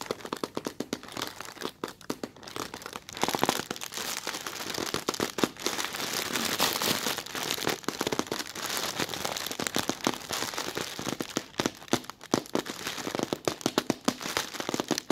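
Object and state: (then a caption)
Thin plastic bag. Fingertips with red nails squeeze and scratch the creased surface of a thin, translucent white plastic film bag. Dense, rapid crinkling and crackling fills the clip, bright and broadband with almost no low end, in uneven bursts of sharp, quickly fading snaps.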